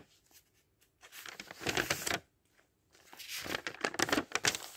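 Fingertips flip and rub the thin printed paper pages of a thick open dictionary in steady page turning. Two bursts of crisp, bright rustling and crinkling come with short irregular flicks, separated by a near-silent pause.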